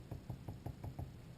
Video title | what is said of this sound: Brushing Slip 1 | you can hear it has a nice damp thud sound when i tap the side and it's not gonna deform if i pick it up